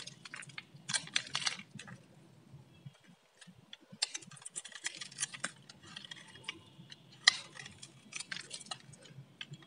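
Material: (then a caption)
Soap. A palm-sized solid blue Lux soap bar, held in the hand, is shaved and scraped with a metal utility-knife blade, producing crisp flakes. Bursts of dry, bright scraping and crackling come in quick clusters with short pauses between them, over a faint low hum.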